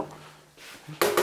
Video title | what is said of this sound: Test Creality Halot Mage | ça sonne pas creux